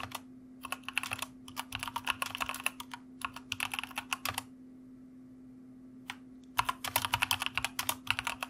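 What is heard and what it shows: Fingertips of both hands type on a white plastic mechanical computer keyboard, producing bursts of quick, bright, crisp key clicks with very short decay. The typing comes in rapid runs, falls silent for a stretch of about two seconds, then resumes, all over a faint steady low hum.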